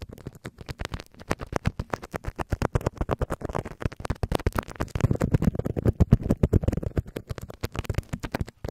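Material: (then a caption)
Plastic. Fingertips and nails scratch and rub clear plastic bubble wrap stretched over a hollow microphone mesh grille. The result is a rapid, steady stream of short, dry, crackling scrapes that sit mostly in the low range, with a denser, rougher rubbing passage in the middle.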